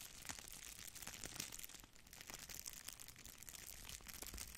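A thin sheet of red plastic bubble wrap is held in both hands and scratched with long nails, then stretched and crinkled. The result is a quiet, continuous, bright crackle of fast, dry scratches and crinkles, with little low-end weight.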